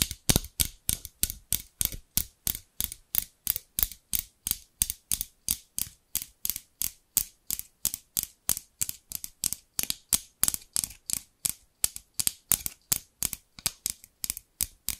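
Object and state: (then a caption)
Scissors with plastic handles tapped by fingernails. Long nails tap the amber plastic handles of a large pair of scissors with steel blades held close to the mic. About 65 crisp, bright clicks come in a quick, slightly uneven run of roughly three per second, each dying away almost instantly.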